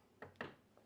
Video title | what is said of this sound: SW-10PRO Flagship Audiophile Network Switch - Vinshine x LHY Audio | If I tap on it, as you can hear, very solid, very inert.